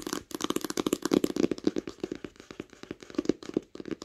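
Long acrylic nails tap quickly on the smooth cover and near the edge of a large green hardcover book lying flat on a blanket. The result is a rapid, uneven stream of short, dry clicks with a hollow mid tone around 320 Hz and bright tips, each tap dying out at once with no ring.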